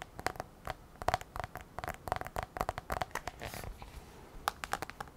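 Long nails tap rapidly on the black glass touchscreen of a thin, flat iPad held tilted, producing quick, dry clicks with a faint ring around 800 Hz. The taps come in uneven bursts, with a brief scratchy swipe midway.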